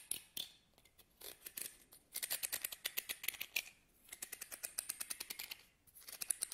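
A medium wide-tooth wooden comb, solid and held in both hands, has its teeth strummed and scratched along by fingernails. Quick runs of dry, bright ticking clicks come in bursts with short pauses between them, each tick stopping dead with no ring and almost no low end.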